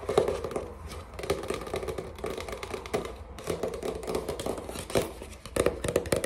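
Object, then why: Pad of watercolor paper. Fingertips with short nails rapidly tap and scratch the glossy printed cover and edge of a flat, rectangular watercolor paper pad, a solid stack of sheets, held up in the air. The result is a dense run of quick, dry, papery taps and crinkly scrapes with a midrange knock and little deep or bright content, each hit fading almost instantly.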